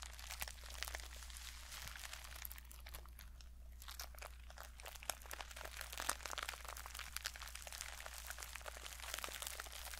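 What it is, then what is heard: Sequin pouch. Long painted fingernails scratch and brush across a small, flat mermaid-style pouch covered in reversible pink, purple and silver plastic sequins, held in both hands, flipping the sequins over. The result is a dense, continuous stream of bright, crisp crinkling and clicking, with short louder flicks popping out here and there. A steady low hum runs beneath it throughout.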